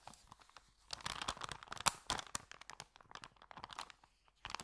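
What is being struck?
Paper bag.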